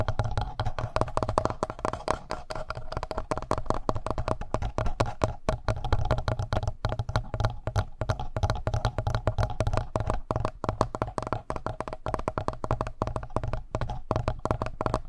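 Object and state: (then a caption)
Plastic handheld audio recorder. Fingertips rapidly tap and scratch the front panel and the area around the mic head of a black plastic Tascam handheld audio recorder. The result is a dense, continuous stream of short, dull, low-heavy thuds and scratchy rustles that close-up mic pickup makes boomy and bassy, with almost no bright top end.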